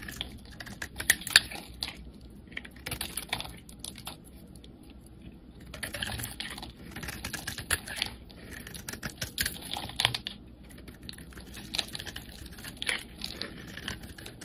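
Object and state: Bar of soap being carved.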